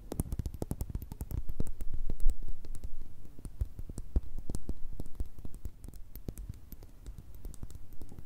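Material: Glass.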